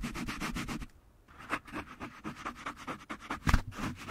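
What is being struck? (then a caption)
Foam microphone windscreen. A small, soft yellow foam windscreen on a black desktop microphone is rubbed and squeezed with fingertips and palms throughout. The result is a close, muffled, scratchy rustling made of repeated short strokes. It is heavy in low rumble, pauses briefly near the one-second mark, and ends with a louder thump toward the end.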